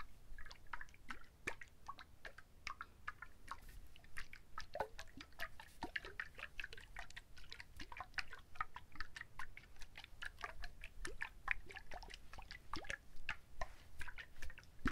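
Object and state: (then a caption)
Whole coconut with water inside. A whole, husked brown coconut with water inside is shaken by hand, then handled with both hands. The result is a quiet, steady stream of short, dry clicks and drip-like taps centered around 2 kHz, over soft low rumble and the slosh of liquid inside.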